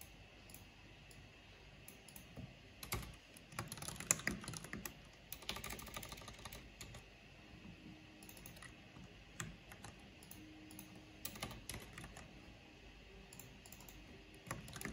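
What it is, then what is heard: Plastic mechanical keyboard being typed on. Long painted fingernails and fingertips tap slowly on a full-size black plastic mechanical computer keyboard with a purple backlight and a hollow housing. Soft, irregular clicks and bright, dry clacks come in loose clusters, each dying away almost instantly over a faint steady background hum.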